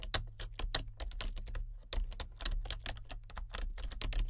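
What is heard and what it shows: A full-size plastic computer keyboard with color-changing backlit keys is typed on continuously with fingertips and nails. The result is a rapid, steady stream of short, bright clicks and taps over a faint low hum.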